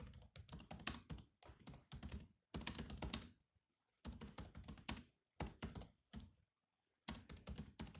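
Fingertips type rapidly on the black plastic keys of a silver laptop keyboard. Quick clicky taps come in short bursts separated by brief pauses, each with a soft low thunk and a bright, crisp edge that dies away almost instantly.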